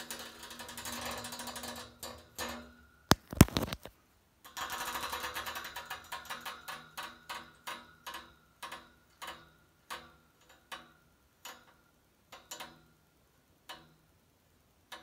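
Fingernails rake and scratch across the top grille fins of a white painted steel radiator. Long rasping scrapes with a faint metallic tone give way to a few sharp, louder clicks. Then comes a string of short, separate scratchy strokes that grow sparser toward the end, each dying away almost at once.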